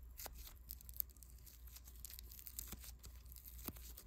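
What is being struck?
Polystyrene foam bead clay.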